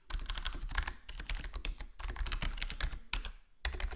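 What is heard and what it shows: A full-size black plastic HyperX Alloy Core gaming keyboard, with square plastic keycaps and a foam-dampened case, is tapped with fingertips, first in single presses and then in typing. Quick, muted clicks with a deep, thumpy low end and brightness on top die away almost instantly. The clicks come in bursts, with brief pauses near one, two and three and a half seconds.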